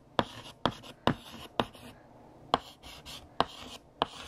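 Purple chalk is tapped and scratched across a large, solid, flat black chalkboard, writing words and underlining them. Seven sharp, dry taps stand out, each followed by a short, bright, gritty scrape, with brief quiet gaps between strokes.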